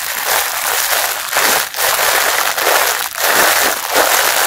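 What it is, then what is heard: Plastic-wrapped mesh bath sponge. Fingertips squeeze and scratch the clear plastic wrapper around a pink mesh bath sponge with a blue brand label, crinkling it. A dense, steady crackling rustle fills the mids and bright highs with no low end, dipping briefly a couple of times as the grip shifts before surging back.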